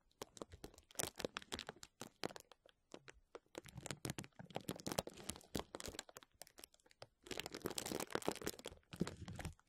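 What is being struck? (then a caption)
Plastic bubble wrap sheet. Fingernails of both hands scratch across and gently press the bubbles of a clear plastic bubble wrap sheet lying flat. Many quick, sharp, bright crinkles and clicks come in uneven clusters. A denser, continuous rustling burst follows later before brief scattered clicks end the clip.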